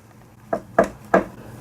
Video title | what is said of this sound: #1915House | Looks like a support post, but it's hollow.